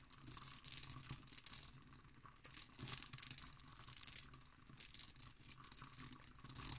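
Long green nails tap and scratch over an empty, hollow hobnail-pattern cut glass decanter with its stopper. The sound is a quiet, dense stream of bright, rattling clicks and scrapes, mostly high in pitch, with short, dry taps that barely ring and little low end.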